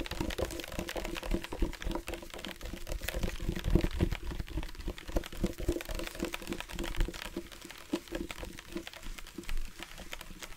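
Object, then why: Plastic sports water bottle with water. A dark plastic sports water bottle with a loop cap, hollow and partly filled with water, is held up and tapped with the fingertips. A rapid, irregular stream of soft, low, hollow thuds runs throughout, carrying a dull tone and faint liquid movement inside.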